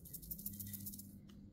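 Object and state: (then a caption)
Stylus pen with loose beads inside. A decorative magic-wand-style stylus pen with small blue pieces inside is shaken, making a soft, quick rattle of bright, high clicks. About nine light rattling hits sit over a steady low hum, then fade out near the end.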